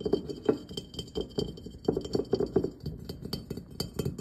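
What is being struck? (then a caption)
Glazed ceramic pumpkin lantern. Fingernails and fingertips tap rapidly on the glossy ribbed shell and stem area of a hollow glazed ceramic jack-o'-lantern pumpkin with a cut-out face and a glowing light inside. The result is a steady patter of short, dry clicks and clinks with a mid-pitched tone around 440 Hz and very little ring after each tap.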